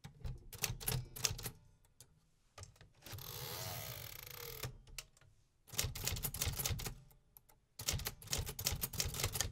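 A hollow, metal-cased 1950s typewriter is typed on with the fingertips of both hands, producing bursts of repetitive mechanical clacks with a low thud beneath bright key strikes. Around the middle, the typing pauses for a sustained, noisy rasping sweep, likely the carriage being moved. Then the clattering keystrokes resume.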